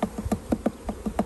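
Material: Wood.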